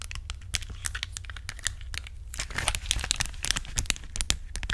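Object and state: Plastic rhinestone sticker sheet.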